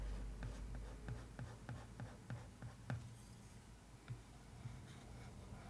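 A wooden stick traces over the floral printed paper lid of a cardboard case. It makes quiet, dull, low scratching and soft tapping strokes at an uneven pace, with a slightly louder stroke near the middle.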